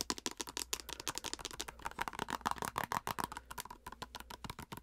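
A filled white plastic cosmetic squeeze tube with a plastic cap is tapped and scratched with long nails, including on the cap. Fast, uneven bursts of sharp clicks and scratchy rattling follow one another, each very brief and bright. A low steady hum sits underneath.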